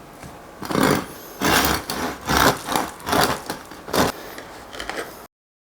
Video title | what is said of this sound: Cómo EVITAR un pan CORTO de FERMENTACIÓN | la del pan bien fermentado está super crujiente como veréis a continuación y escucharé el sonido crujiente